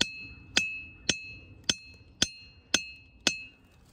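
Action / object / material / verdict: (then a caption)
strike / diabase boulder struck with a steel hammer / diabase / none. A steel claw hammer with a wooden handle and blue grip strikes a large, solid grey diabase ringing-rock boulder in a boulder field, tapping the same spot six times at a steady pace. Each strike gives a sharp, bell-like metallic ping with high sustained tones near 2.7 kHz that ring briefly between hits.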